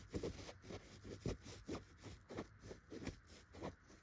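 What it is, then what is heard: Chenille fabric pillow being scratched. A single finger with a short red-painted nail scratches between the tufts of a yellow chenille dotted pillow fabric. The result is a quiet, soft, muffled series of rhythmic scratching strokes, mostly low in pitch with little high-frequency hiss.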